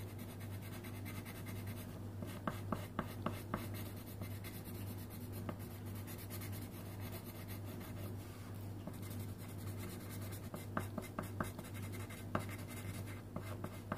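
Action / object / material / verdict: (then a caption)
scrape / wooden colouring pencil on thin paper over a wooden table / paper / none. A pink wooden colouring pencil scratches back and forth across a thin printed paper colouring sheet resting on a wooden table, while the other hand holds a few pencils still. A steady, soft, dry scratching runs throughout, broken by short, sharp ticks of the pencil, over a constant low hum.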